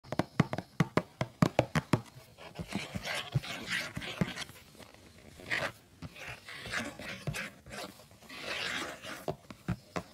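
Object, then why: Printed cardboard tea box. Fingertips and nails tap and scratch the front and back faces of a rectangular, hollow printed cardboard tea box, likely holding sachets, lying on a fluffy rug. A quick run of sharp, dry taps opens the clip, then gives way to softer, hissy scratching bursts broken by occasional taps.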